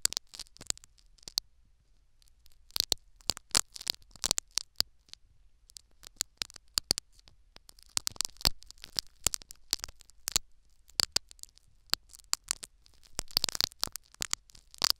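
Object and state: Foam sponge plug scratched with metal needles.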